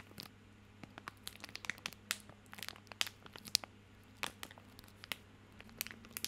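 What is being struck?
Soap bar in a plastic or paper wrapper.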